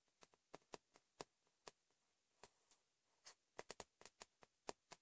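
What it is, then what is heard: Paper notepad tapped with fingertips. Fingertips and nails tap on the top sheet of a thick yellow notepad with a cardboard back, lying flat on a bed. Quiet, short, dry taps come in an irregular series with brief pauses, each with a papery click and almost no ring.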